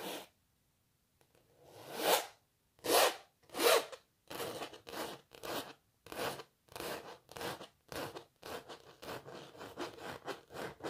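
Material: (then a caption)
Canvas. Long natural nails scratch the textured canvas of a cellist painting up close, making a series of dry, hissy rasping strokes with a bright edge. The first few strokes are slow and louder with a rising sweep; the rest become quicker, shorter and softer in an uneven rhythm.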